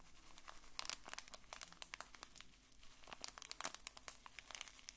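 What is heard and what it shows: A small bar-shaped pack wrapped in blue printed plastic film is held in both hands and squeezed and crinkled with the fingers. Quiet, dense crinkling and sharp, bright crackles come in quick irregular bursts over a faint low hum. The crackles die away almost instantly.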